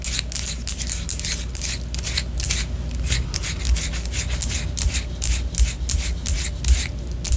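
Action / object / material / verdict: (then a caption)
scrape / wax pillar candle / wax / none. Long orange nails scratch a white solid wax pillar candle held horizontally, making rapid, repeated, bright scratching strokes over a steady low hum.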